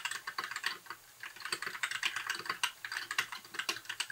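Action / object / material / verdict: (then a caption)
tap / mechanical keyboard with plastic keycaps / plastic / none. Both hands type with their fingertips on a compact white backlit mechanical keyboard with plastic keycaps. The result is a quiet, rapid stream of short, crisp plastic clacks with bright, high-pitched clicks centered around 1.5 kHz, with a brief lull near the one-second mark before the typing picks back up.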